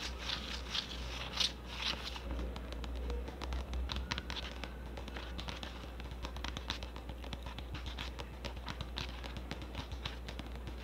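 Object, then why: Plastic cosmetic tub with lid. A medium red plastic hair mask tub with a lid, hollow and likely filled with product, is held in one hand while long orange nails tap and scratch its side and lid. Quick, irregular, crisp clicks and scratchy rasps follow one another, bright and short with almost no ring, over a steady low hum.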